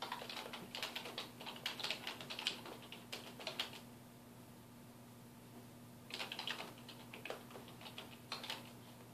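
Fingertips of both hands type on a black plastic computer keyboard resting on a wooden desk, producing quick, bright, clicky key taps in bursts. The typing pauses for about two seconds midway before resuming, over a faint steady low hum.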